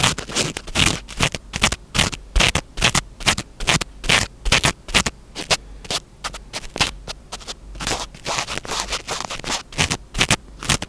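Fingertips pinch and scratch a small black foam windscreen on a microphone, producing rapid, uneven bursts of bright, rustling scratch noise. A faint low hum runs underneath between the bursts.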